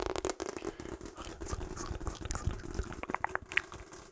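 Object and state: Rubber hot water bottle.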